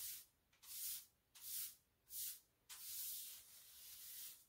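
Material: Ceramic.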